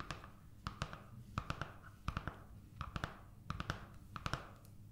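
Long nails and fingertips tap and scratch the surface of a large sketch pad of paper sheets held upright in one hand. Short, dry taps come in quick clusters of two or three, each dying away almost at once, with a soft papery scratch between them over a faint low hum.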